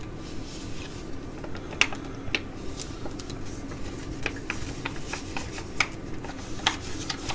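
A filled white foil-laminate sheet mask pouch is held while long nails tap and scratch across its printed front. Sharp, bright clicking taps stand out over a soft, steady crinkling scratch and a low background hum.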